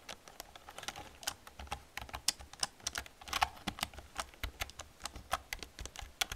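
Fast typing with long painted nails and fingertips on a black plastic computer keyboard with hollow plastic keys. It makes a quick, uneven stream of short, bright clacks, each dying away almost instantly, with a hollow midrange body around 800 Hz. Now and then a sharper, louder tap stands out.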